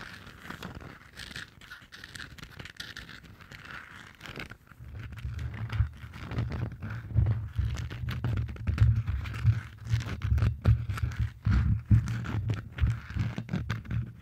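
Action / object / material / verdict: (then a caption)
scrape / hollow plastic moon-shaped lamp / plastic / none. Long dark nails tap and scratch the textured plastic surface of a round, head-sized, hollow moon-style night lamp with a Stitch print, lit from inside. The first few seconds are soft, dry scratching with some mid-range crinkle. After that, dense, irregular taps produce a louder, hollow, low thudding resonance that continues to the end.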